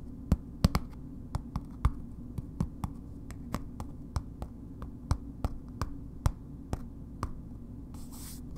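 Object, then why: Bar of soap in a paper wrapper. A solid bar of soap in a red paper wrapper is turned in the hands and tapped on its ends and faces with long nails. The result is a slow, irregular series of short, crisp clicks that die away almost instantly over a steady low hum. A brief bright papery rustle comes near the end.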